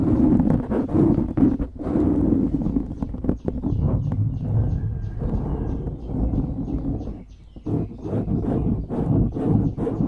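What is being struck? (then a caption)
Foam microphone windscreen. Fingers squeeze and then scratch the sides of a dark grey foam windscreen on a microphone. The result is a close, muffled, dense stream of low rustling and crackling scrapes that briefly quiets just past the halfway point before the scratching picks up again.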